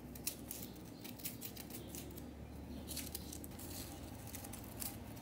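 Long nail tips scratch and flick at a small remaining chunk of solid compressed-powder bath bomb in the bath, with hands covered in powder. Dry, bright crackling scrapes come in quick, uneven bursts over a steady low hum. A few sharper flicks stand out.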